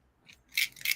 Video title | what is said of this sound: U.G. Digital Podcasting & Radio Presents… Transcending The Culture Ep. 23 | you heard the pill Shake